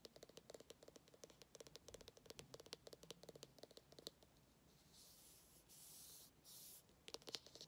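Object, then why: Small hardcover paper book. A small, solid orange hardcover "Dad Jokes" book is held in the hands while fingernails scratch and tap its spine edge and then its cover. Quick, crisp high clicks patter for about four seconds, then give way to a few longer, hissing fingernail scrapes before a final burst of tapping. The sound is quiet throughout.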